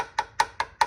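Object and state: Solid subframe mount area.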